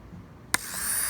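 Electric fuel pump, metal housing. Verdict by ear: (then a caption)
Failing. A failing Mercedes in-tank electric fuel pump with a metal housing, wired straight to a battery, sits silent until its housing is struck once with a tool, giving a single sharp click. Right after the tap the pump briefly starts, and a bright, high whirring whine rises and grows steadily louder. The pump's motor is worn out, so it runs only when tapped, and it was replaced.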